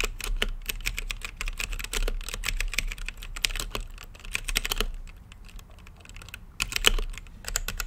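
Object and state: Mechanical keyboard with plastic keycaps.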